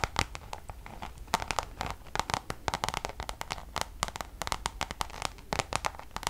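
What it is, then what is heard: Coated canvas pouch. A Louis Vuitton Damier checkered coated canvas pouch, held close to the mic in both hands, is tapped and scratched with long nails. Quick, dry clicking taps land in dense irregular bursts over a steady scratchy, crinkly rustle, each tap cutting off almost at once with a bright edge and a faint tone near 880 Hz.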